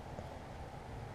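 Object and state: Nothing is struck.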